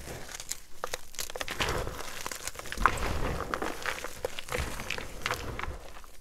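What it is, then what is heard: Gym chalk blocks being crumbled. A pile of plain white gym chalk blocks (magnesium carbonate) and powder sits on a dark marble surface, where the solid, brittle, dry blocks are crushed and crumbled between bare fingers and fingertips. Continuous crumbling and crunching, with some rubbing of powder, carries a dense low body and short, dry, crackly bursts that die away almost instantly.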